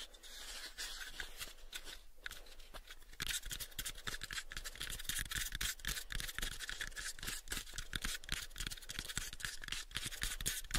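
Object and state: Small wooden box, scratched and tapped.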